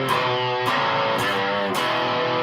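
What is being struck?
Nothing is struck.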